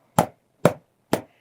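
A leather water bottle is tapped to knock loose popcorn from inside, part of tapping it repeatedly until no more popcorn comes out. Three separate short, dull thumps sound about half a second apart, each fading quickly with a soft rattle.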